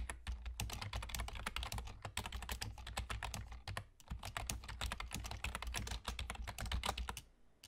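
Rapid fingertip typing with short nails on a full-size black plastic computer keyboard with German key labels and hollow keys, using both hands. Dense, sharp clicks with bright tops run steadily over a low hum and briefly pause around the four-second mark. The tapping fades out at the end.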